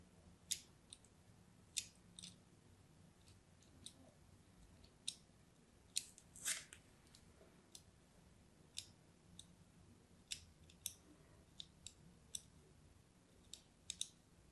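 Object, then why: Bar soap scored with a thin knife blade. A solid orange-and-white striped bar of soap is held in the hand and scored with a thin metal knife blade in repeated scratching strokes. About twenty short, dry, bright scrapes and crisp crunches sound at uneven intervals, each dying away almost instantly over a faint low hum.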